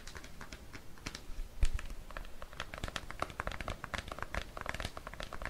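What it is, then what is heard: Plastic cream jar. A large, seemingly full plastic Cetaphil moisturizing cream tub with a blue plastic lid, held in bare hands, is tapped and scratched with fingertips and nails. A dense run of quick, dry clicks and scratchy taps, short and closely spaced, sits over a soft low rumble, with one slightly louder knock near the start.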